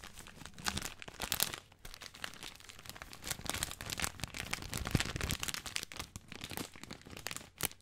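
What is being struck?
Plastic film bag of dry spaghetti.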